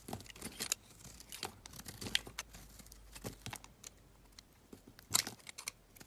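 A hand-sized solid pink bar of soap, held in one hand, is shaved and carved with a metal utility knife blade while shavings pile up nearby. The result is a quiet, bright series of short scraping and crisp crinkling cuts with tiny ticks, each dying away almost instantly. Louder sharp scrapes come near 0.7, 2.1 and 5.2 seconds.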